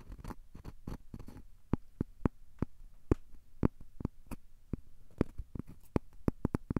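A thin, solid, square cork coaster is held edge-on between both hands while fingertips rub and scratch along its edge and surface. The result is a quiet series of short, dry scratching ticks that flash bright and die away almost instantly, over a soft low rumble.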